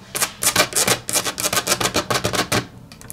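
Long natural nails tap rapidly and scratch lightly on a solid, flat grey wood-grain laminate tabletop. About nineteen bright, clicky taps come in an uneven quick rhythm, each dying away almost at once. The run ends in a few softer, fainter taps.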